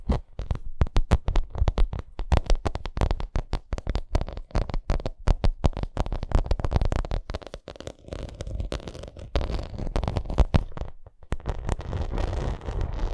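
Long nails scratch and tap a bumpy vinyl makeup bag, producing a fast stream of low, dull taps mixed with rough scratching bursts. The sound is deep and muffled, with no speech.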